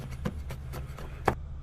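Something buried is struck while being dug up, giving dull, hollow knocks over a low rumble, with the loudest, sharpest knock near the end. The hollow tone marks it as a buried hollow wooden box with a lid.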